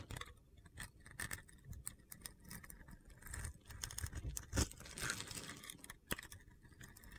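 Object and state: Glitter-coated soap bar being shaved.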